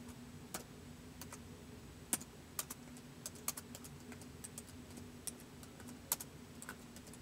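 Fingertips type slowly on a white plastic laptop keyboard, producing sparse, short, bright clicks with uneven gaps between them. A steady low hum sits underneath the quiet keystrokes.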